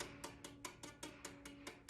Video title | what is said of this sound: Guitar Building - The Basics of Preparing Frets | tap the string, and if you hear that little tap, that's usually a good neck relief.